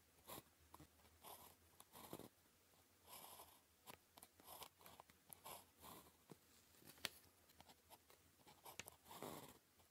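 A blue plastic ballpoint pen, held by the fingertips, scratches across a thin sheet of red-grid calligraphy paper lying flat on a desk while writing Chinese characters. The result is quiet, dry bursts of scratching and scraping with bright, airy highs. Short strokes alternate with longer drawn lines, separated by brief pauses, over a faint low hum.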